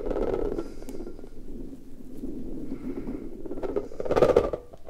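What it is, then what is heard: Rubber puffer ball being squeezed. An orange rubber puffer ball is squeezed and rubbed with both hands, its smooth stretched rubber bubble bulging. A steady stream of low, muffled rubbery squeaks and creaks centred around 480 Hz swells to its loudest squeeze near the four-second mark, then drops away quietly.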